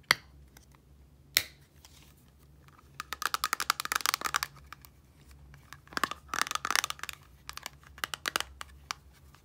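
Long nails flick the turquoise flip cap of a small clear plastic micellar water bottle with liquid inside open and closed, and tap the bottle. Two sharp, isolated clicks open the clip, followed by dense clusters of quick, bright, dry plastic taps and clicks with almost no ring. A faint low hum runs underneath.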